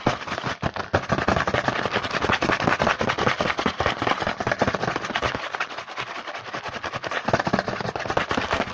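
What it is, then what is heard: Cardboard snack box. A small printed cardboard Hanuta snack box is held in the hand while fingertips tap and scratch fast and aggressively on its front. The result is a dense, continuous stream of sharp, dry crackling taps and scratchy rustles across a broad range up to bright highs. The sound eases slightly for a moment near the six-second mark.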